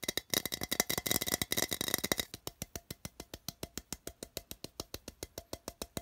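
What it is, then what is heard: Empty tin can. Fingertips tap and drum on the side of a small, open, empty printed metal tin as it is held and turned. Its hollow body gives a bright, rattling clatter. A fast, dense flurry of taps for about two seconds settles into a steady run of short, crisp knocks with a faint hollow tone.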